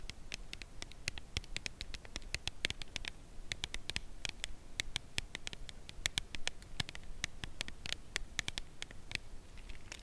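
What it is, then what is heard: Full cardboard chocolate box. A full red Lindor cardboard chocolate box, held in both hands, is tapped on its edge with long nail tips. The result is a steady run of short, dry, bright clicks with almost no ring, centered around 2.2 kHz, over a faint low rumble.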